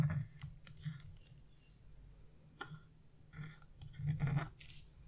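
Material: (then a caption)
Wax coating. A flat chisel, held in a hand with blue-painted nails, scrapes the black coating off a wax-coated scratch-art page with a bird design, piling up flakes. Repeated short, dry scratching strokes come in uneven bursts over a steady low hum, some bursts carrying a bright, papery rasp.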